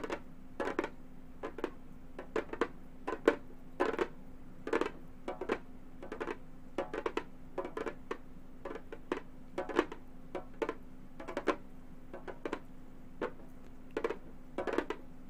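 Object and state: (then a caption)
Synthetic-head frame drum tapped with metal claws. Long gold metal finger claws tap across the synthetic head of a round, hollow Remo frame drum in quick, irregular bursts. Each tap is a sharp, clicky strike with a bright edge that dies away almost at once, over a faint, steady low hum.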